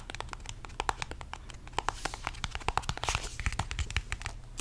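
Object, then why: Small cardboard box. A small purple cardboard card box, hollow and holding cards, is held in the hands while fingertips tap and rub its sides. Quick, dry taps and papery rubbing scrape along steadily, with brief crinkly bursts and a low hum underneath.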